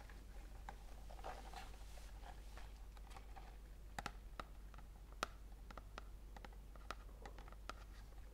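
Long dark-painted nails scratch and tap a small rectangular printed paperboard tea box (white and green, organic detox tea), hollow and apparently full, held in both hands. Soft, quiet scratching runs throughout, broken by short, dry taps that click with a bright edge around 1.4 kHz and die away almost instantly. A steady low hum sits underneath.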